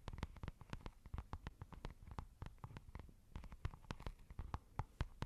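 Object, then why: Textured fabric makeup pouch. Long nails tap and scratch a soft, hollow, white textured fabric makeup pouch. The result is a quick, irregular run of dull, soft taps with brief scratchy texture, each dying away almost at once.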